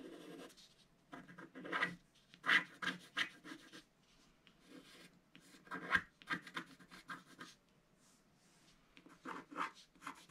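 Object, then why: Coated scratch-art paper scratched with a wooden stylus. A wooden stylus scratches the coating of a black scratch-art card in a book in short strokes. Quiet, dry, papery scratches come in clustered bursts with brief silent pauses. The sound is mostly mid-range with a bright edge and almost no low end.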